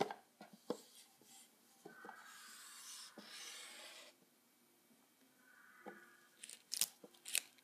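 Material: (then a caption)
Paper, plastic foil. Fingertips rub and press the shiny green plastic ribbon bow and the paper-covered lid of a small, apparently hollow box in red wrapping paper. Soft, dry taps and light crinkles give way to two longer stretches of hissy rustling in the middle. Sharper, bright crackles of the foil bow follow at the end, all at a quiet level.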